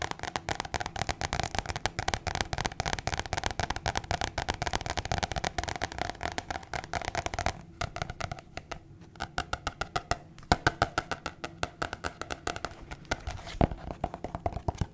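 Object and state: Paper card tapped and scratched.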